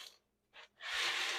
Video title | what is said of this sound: Make Your Own Crunchy & Healthy Homemade Cereal! | The cereal is out of the oven for its second bake, and you can hear how crispy it is.